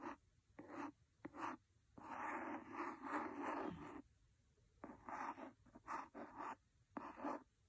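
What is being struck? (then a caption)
Cloth-covered hardcover book. A wooden pencil scratches the cover of a large, solid, red cloth-covered hardcover book. It makes short, dry scratching strokes and one long continuous rub in the middle, with a soft, papery rasp in the mids and little low end. Quiet pauses fall between the bursts.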